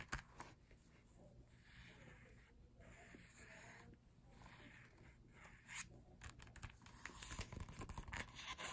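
Fingertips scratch and tap on the printed pages of an open glossy paper photobook. For the first several seconds a soft, airy, bright scratching swells and fades over a low steady hum. Near the end it gives way to quicker, sharper taps that click briefly and die away fast.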